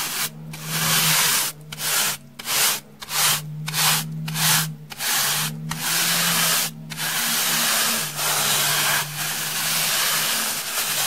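A pink plastic brush with soft white bristles is swept across a rectangular slab of solid, porous, beige dry floral foam held in one hand. The result is a series of dry, bright, hissing scratches: short separate strokes at first, then longer continuous brushing. A faint low steady hum sits underneath.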